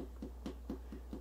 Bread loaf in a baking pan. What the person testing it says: you can hear it's hollow